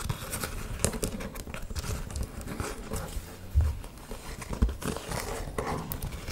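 An old brown leather boot, hollow and empty, is held close while long nails tap and scratch along its leather upper. The result is close, dull, low thuds mixed with soft, dry scratching and crinkling, with a couple of louder knocks partway through.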